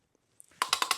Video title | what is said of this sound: The BMW That No Mechanic Could Start for 2 Years | when you hear this sound, seems like it's working. I just was probably stuck because of the long standing. Now it moves really easily